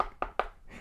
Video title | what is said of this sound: [TEST] Panneau Led RGB sans fil chinois à 60 euros | a rien dedans ça sonne creux